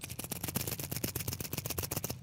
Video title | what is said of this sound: 183 - Tying Up Loose Ends - July 29th, 2026 | So, I'm just shaking it around. So, you hear that? It's like high pitch.